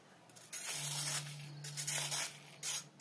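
A metal knife blade scrapes a solid, crumbly grey sand-cement cylinder, about hand-sized, the rightmost of four standing on a dusty surface, and powder and grit pour down. The scraping comes in bright, hissy, gritty bursts with a steady low hum beneath the first part.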